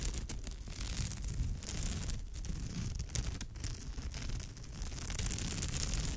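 Long pale almond-shaped nails scratch across the weave of a woven straw or raffia bag, with both hands resting on and scratching its surface. The result is a steady, dense, crinkly scratching texture with bright rasping detail and a heavy low rumble underneath, continuing throughout without clear breaks.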